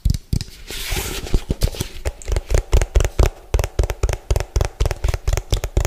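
Fingertips and nails of both hands tap fast and hard on the ridged base of an orange hollow plastic food container, bottom facing the mic. The taps are dull, low, hollow thumps that die away almost at once, with a brief bright rustle near the start.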